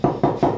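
A baked country bread loaf with prunes is knocked three times, giving short, hollow, low-pitched thuds. The hollow sound shows the bread is cooked through.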